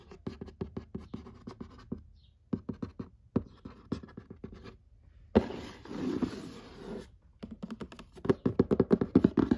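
Fingertips and long nails tap and scratch the lid of a flat printed cardboard box for the "Murder Mystery" party game, which is lying on a lap. Quick dry taps come in clustered bursts with short pauses. A sustained rasping scratch follows in the middle, then denser, louder tapping toward the end.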